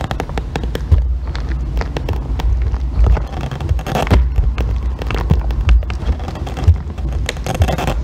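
A solid green bar of soap, already carved down, is shaved with a thin metal loop tool, giving a steady run of crackly scraping. Many sharp, short clicks and snaps sit over a constant low, heavy rumble throughout.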